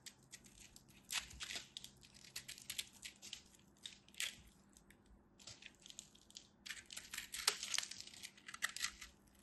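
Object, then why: Pressed soap-flake ball. A knife tip carves into the surface of a solid ball of compressed soap flakes held in the hand, crumbling pieces off. The result is a quiet series of dry, bright, crisp scrapes and crumbly crunches that come in short bursts with brief pauses and no ringing.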